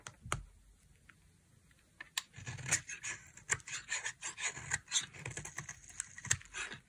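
A hand with long nails holds a solid, palm-sized bar of dry green soap and carves it with a utility knife blade into stringy shavings. After a quiet start with a few faint ticks, the blade gives a run of bright, crisp scraping and crackling cuts with sharp clicks. Each cut is short and dry, with almost no ring.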